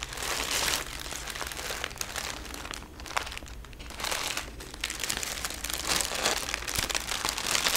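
Folded sheets of thin red tissue paper wrapped around something are held and crinkled by both hands with painted fingernails. A steady stream of bright, dense crinkling and crumpling rustles on for about eight seconds, with a quieter stretch near the three-second mark before the handling swells again.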